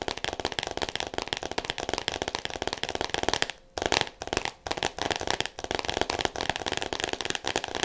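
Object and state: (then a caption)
Cellophane-wrapped hardcover book. Long nails tap rapidly on a solid "All About Me" hardcover book wrapped in clear plastic, making a dense, steady stream of sharp, crinkly clicks with a bright, papery edge. The tapping pauses briefly just past the midpoint, then resumes at the same quick pace, each click dying away almost instantly.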